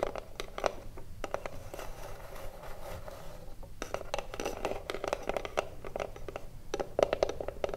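Long blue nails tap and scratch the front face of a small hollow wooden cigarillo box. Quick, dry, hollow-toned taps mix with soft scratchy rasps, each tap stopping almost instantly with no ring. The result is a quiet, steady pattern of irregular clicks and scrapes.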